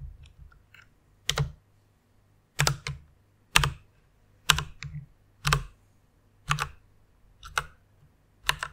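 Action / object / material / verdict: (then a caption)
tap / plastic mechanical keyboard / plastic / none. Fingertips and long nails type and tap on the plastic keycaps of a full-size white mechanical keyboard with Cherry MX red switches. Sharp, bright clacks with a low thock come in irregular bursts about once a second, separated by near silence, over a faint steady low hum.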